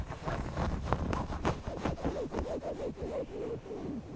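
Fingertips scratch and rub across the front of a large, soft stuffed owl-shaped cushion made of red polka-dot and floral cotton fabric with appliqué eyes. The result is a steady run of soft, dull scratching and rustling strokes in an uneven rhythm, with a low, muffled body and little brightness.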